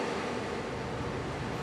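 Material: Nothing is struck.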